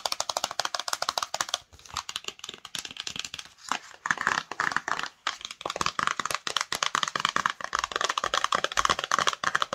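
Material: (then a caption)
Cardboard. Long nails rapidly tap and scratch the front and edges of a small, hollow, patterned cardboard Cosmo cosmetics box, and the box is held close at the end. The result is a fast stream of crisp, dry clicks and scratchy rustles with almost no low end and no ring.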